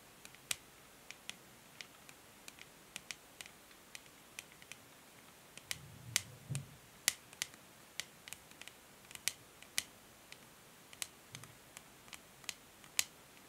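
Long nails tap and scratch the smooth grey matte plastic back of a hollow paddle hair brush. Sharp, bright, dry clicks come at irregular intervals over a quiet background, with a faint low rub of scratching partway through.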